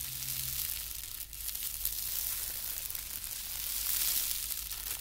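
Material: Paper.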